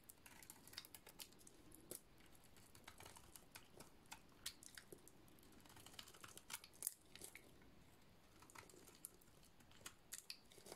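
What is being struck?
Soap bar shaved with a blade.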